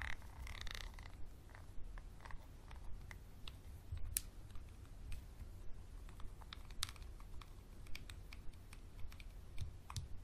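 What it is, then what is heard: Textured glass bottle. A wooden pencil scratches and taps a small clear textured glass bottle held close to the microphone, making short, dry, bright ticks and scrapes at an uneven pace. The clicks die away almost instantly over a steady low rumble, and the overall level is quiet.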